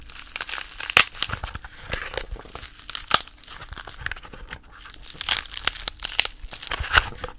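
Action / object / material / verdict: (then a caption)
tap / dried lotus seedpod / plant fibre / none. Long polished nails tap and scratch across the pitted face of a dried, brown, hollow-celled lotus seedpod with seeds sitting in its holes. The result is a dense run of dry, crackly, crinkling ticks and scrapes, bright and high-pitched, with several sharper clicks standing out and almost no ring after each touch.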